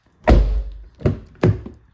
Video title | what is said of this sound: Car Sound Proofing/Treatment on CR-V and Civic | even when I close it really hard there's no uh Hollow sound to it